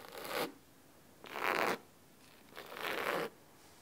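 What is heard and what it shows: Fingernails of both hands quickly scratch the solid blue cloth cover of a large cloth-bound hardcover book resting on a wooden table. Three separate bursts of crisp, dry scratching come through, bright and hissy with a papery midrange, and each one stops cleanly into near silence.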